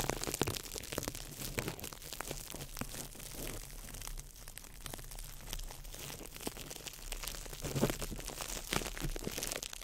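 A small ball of crumpled clear plastic wrap is crinkled by fingertips over the mic, giving a dense, continuous crackle of sharp, bright crunches and crinkles. The crinkling swells louder near the end, with a steady low hum underneath throughout.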